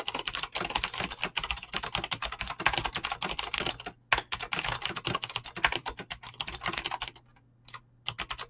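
Fingertips with short painted nails type fast on a full-size mechanical keyboard with Razer green clicky switches and pink-blue PBT plastic keycaps resting on a desk. A dense run of sharp, bright clicks and clacks pours out with very short decay. The typing stops briefly around four seconds and again near seven seconds before resuming.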